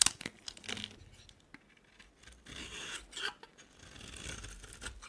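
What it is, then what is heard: Soap bar being shaved with a blade. A hand-held solid rectangular soap bar with a gold-painted surface and white interior is shaved into curls with a utility knife blade. Quiet, bright, dry scraping and crisp cutting strokes rasp across the soap, with a few short, sharp ticks and no ringing tail.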